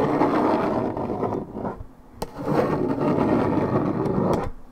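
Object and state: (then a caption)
Paperboard juice carton scratched. Long red nails scratch the top side panel of a hollow Minute Maid 1.75 L coated paperboard orange juice carton, fill unknown. A dense, raspy, mid-toned scratching runs in two long bursts, broken by a quieter lull and a single sharp tick near the middle. It fades out at the end.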